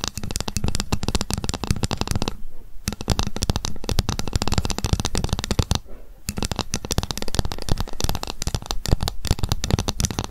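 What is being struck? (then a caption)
Ruler. A ruler is tapped rapidly with long fingernails, producing a dense stream of sharp, dry clicks with a low thudding body. Two brief pauses break the tapping around 2.5 and 6 seconds, and some passages include scratching.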